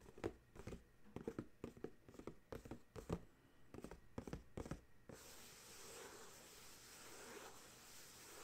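Fingertips and nails tap, rub and scratch the top face of a small white and purple printed cardboard dryer sheet box, full of sheets, resting on a towel. For about five seconds there are quick, dry, papery taps and short scratches with brief pauses between them. These then give way to a steady, soft, bright scratching hiss that continues to the end.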